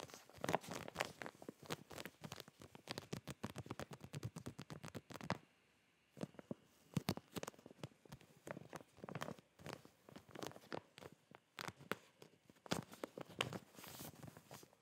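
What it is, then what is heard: Plastic packaging bag with fabric inside. A clear soft plastic zip bag with a cardboard hanger header, filled with folded fabric Smiley boxer shorts, is held in both hands while fingertips and nails tap and scratch its surface. Rapid, dense crisp taps and scratchy crinkles fill the clip, pausing briefly at about 5.5 to 6 seconds before continuing in quick bursts. The plastic gives short, dry clicks and bright crackling rustles with little ring.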